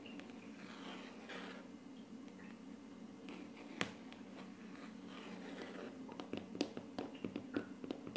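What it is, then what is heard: Laminate tabletop. Short painted nails of both hands tap and scratch on a flat, solid wood-look laminate tabletop. Soft, quiet scratching runs over a steady low hum, with one sharp click near the middle. A cluster of crisp, bright taps follows in the last two seconds.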